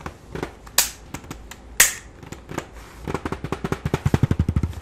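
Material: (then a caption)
Plastic. Fingertips and nails rub and scratch the flat grey plastic back panel of a full-size, hollow-bodied keyboard turned upside down. Soft, scattered rubbing and light taps are broken by two sharp, bright scratches. The clip closes with a quickening run of hollow, low plastic taps.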